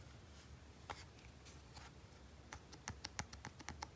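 A small red plastic Nintendo Game & Watch handheld with a hollow shell is scratched on its textured back by a fingertip and nail, making soft, airy rasps. The device is then turned over and fingertips click its front buttons in a quick run of sharp, bright, short clicks with a faint low body.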